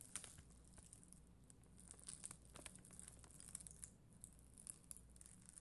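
A spoolie brush scratches over a red and clear acrylic rhinestone sticker sheet, making soft, bright, crinkly scratches and light ticks as the bristles catch on the gems. The sound is quiet and close, with a low steady hum underneath and many quick, short clicks that fade almost instantly.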